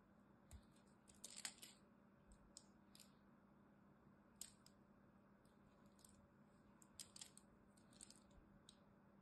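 A small knife blade carves and scrapes crumbly pieces off the corner and face of a solid green bar of dry soap held in the hand. Quiet, crisp, bright crunches and scratchy clicks come in short clusters over a faint, steady low hum. Each crunch is dry and stops almost at once.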